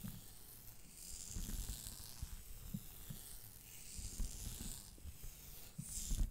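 Long dark-painted fingernails on both hands scratch grey textured stretch-knit leggings worn on the thighs on either side of the microphone. The result is a quiet, continuous rustling scratch with soft, low thumping underneath and bright, hissy swells as the nails sweep across the knit.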